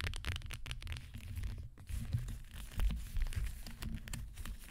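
A gold metallic leather high-heel shoe with a teal heel and black sole stands upright on a cloth-covered table while long green nails tap and scratch its gold upper with both hands. The sound is a dense run of quick, dry taps and crinkly scratching, dominated by a low, muffled thump with brief bright ticks.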